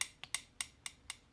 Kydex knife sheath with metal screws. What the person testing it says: the knife itself no rattle no play